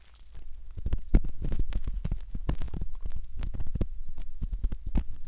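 A curved metal pick scrapes at the canal opening of a soft silicone ear model. Close, muffled scratching and crackling comes in rapid bursts, heavy in low rumble with brief bright edges on the sharper strokes.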